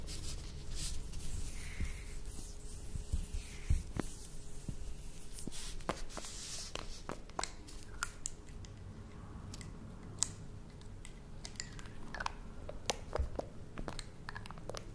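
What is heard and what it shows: Long nails tap a small, clear, apparently empty glass dropper bottle with a metal cap, first as it sits on a table and then while it is held. Quiet, sharp, bright clicks and taps come in irregular bursts over a low, steady background rumble and a faint constant tone. Each tap dies away almost instantly.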